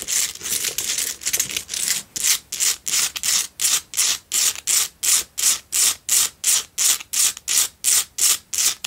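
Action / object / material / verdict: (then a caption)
scrape / rock salt candle holder / rock salt / none. Long nails scratch vigorously around the surface of a lit, cylindrical pink Himalayan salt single tealight candle holder. The result is a steady run of short, dry, bright rasping strokes, close to three per second, with no low end and almost no ring after each stroke. The strokes blur together at first, then separate into evenly spaced bursts.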